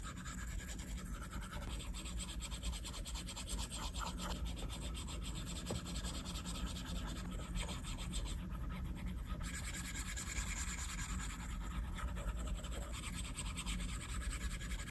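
A plastic stylus tip rubs and scratches short sketch strokes across a large, solid, flat glass iPad screen. Soft, dry scratchy strokes come and go over a steady low hum that fills the background at an even level throughout.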